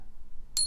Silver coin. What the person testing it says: it's that long resonating pitch that you're looking for